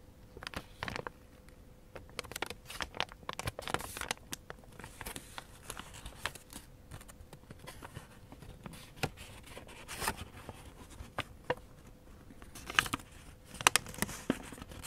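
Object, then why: Thin origami paper sheet. A thin light-blue origami paper sheet, partly folded into a crane base, is folded and rubbed along its creases by fingertips with short painted nails. The paper gives off quiet, bright crinkles and rustles in many short, crisp bursts. A faint steady hum sits underneath.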